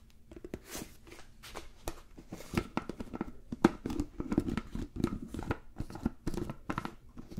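A medium-sized, hollow, apparently empty clear plastic food container with a blue plastic lid is handled and tapped with fingertips and nails around the lid and sides. The result is a quiet, rapid series of short, dry plastic taps, clicks and light crinkly scrapes with a hollow, mid-low tone that dies away almost instantly.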